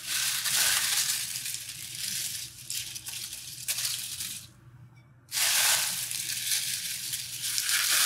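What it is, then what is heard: Dry, brittle rose petals. A loose pile of dry, brittle red rose petals on a tabletop is crushed, rubbed and crumbled between the fingertips of both hands. This makes a dense, bright, crispy crackling that sits mostly in the high range. Partway through, the crackle fades to near silence for under a second, then returns at full strength to the end.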